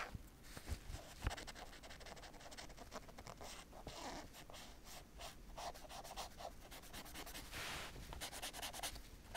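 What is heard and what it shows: A fingertip with painted nails traces and scratches along the printed lettering of a large black padded nylon/polyester Wimbledon Babolat tennis racket cover lying flat. Soft, continuous scratching and rubbing produces a bright, airy rasp over a low background rumble, with a couple of sharper ticks near the start. The strokes come in quick bursts and swells throughout, staying quiet overall.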